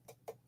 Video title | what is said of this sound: STUFF I NEVER LEARNED FROM A SCHOOLBOOK - ERIN BUSH | mine's pretty Hollow I don't even think this is real wood